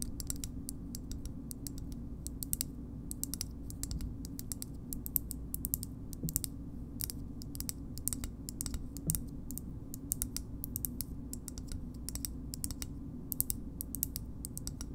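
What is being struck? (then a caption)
Small hard plastic shoehorn. Long nails tap a small, hard green plastic shoehorn, making a steady stream of quick, light, bright clicks that die away almost instantly. A constant low hum runs underneath the whole time.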